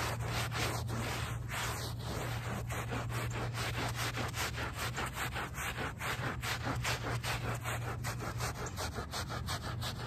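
A small handheld brush with a brown back scrubs the woven fabric backing of a small wet, soapy rug lying on pavement. The result is a steady run of rough, rasping strokes at a brisk, uneven pace over a constant low hum, with faint wet squelches.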